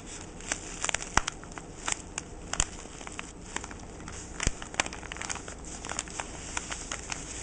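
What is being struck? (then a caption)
Tissue paper parcel with twine. A fingertip with short painted nails scratches and rubs the crinkly white tissue-like paper around the jute twine bow of a small flat parcel lying on a wooden table. Quiet, bright crinkles and sharp little crackles pop out irregularly over a soft, steady hiss, each one dying away almost instantly.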